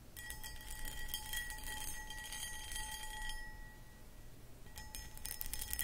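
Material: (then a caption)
Cut crystal. Long acrylic nails scratch and tap across the textured cut pattern of a hollow, empty, medium cut crystal glass pedestal bowl. Bright, scratchy bursts come in a quick, uneven rhythm over a clear ringing tone near 1.9 kHz with a fainter one around 850 Hz. The scratching eases into a quieter stretch of low rumble partway through, then picks back up.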